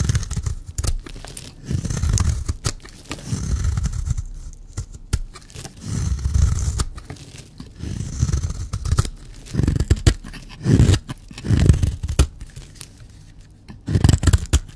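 A metal blade cuts and scrapes flakes off a solid, dry black bar of soap held in the hand. The clip is a series of short, rough scraping strokes with crisp clicks and snaps between them, weighted toward a dull low rasp. Each stroke stops dead with no ring.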